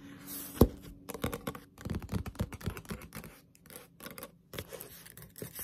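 A Zelda Ocarina of Time paperback manga, a solid paper book with a glossy cover, is held up and then laid flat while long pointed nails tap and scratch its cover. Quick, dry taps and scratchy brushes come in uneven bursts, with one sharp, louder tap near the start. The short, muffled hits die away almost at once.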